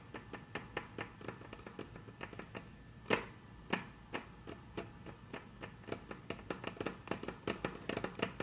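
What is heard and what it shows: Very long, curved natural fingernails tap and trace across a flat, solid, dark brown wood-grain tabletop, possibly wood veneer or laminate. The sound is a steady series of short, sharp, bright clicks that die away almost instantly, with soft scratchy tracing between them. One tap near the middle is noticeably louder, and the taps come quicker and denser toward the end.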